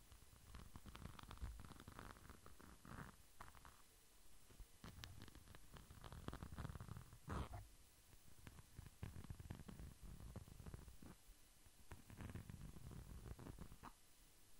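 A small, flat red pouch with a glitter-coated surface is held up and scratched with the fingertips close to the microphone. The result is a quiet, close-up texture of soft, uneven scratching bursts, dominated by a low, muffled rumble with faint bright crackles and one sharper crackle about halfway through.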